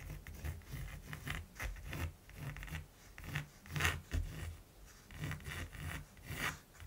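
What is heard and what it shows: A mechanical pencil scratches strokes across the textured surface of a large, flat primed canvas. Soft, rasping scrapes come in repeated short bursts, each swelling and fading, with a dull low body under a bright, gritty edge.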